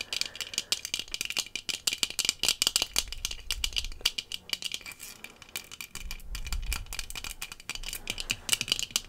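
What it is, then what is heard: Tinted sunglasses tapped with fingernails. Long fingernails tap quickly on the lenses and frame of rectangular sunglasses with dark tinted lenses worn on the face. The sound is a dense, rapid run of bright, crisp clicks that stop almost instantly, with a faint low rumble swelling underneath at times.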